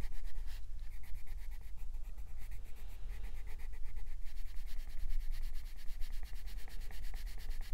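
A green wooden colored pencil tip shades densely back and forth across a paper coloring book page while the other hand holds the book flat. Rapid, steady scratchy rubbing strokes repeat in a continuous rhythm, bright and papery over a faint low hum.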